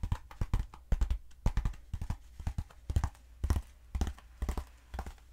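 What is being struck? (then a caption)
Textured foam roller. Long acrylic nails tap and scratch a long, black, textured foam roller held upright and across. Quick bursts of dull, low taps with bright clicky edges come in irregular clusters, each dying out almost at once, with a faint scratching rustle between them.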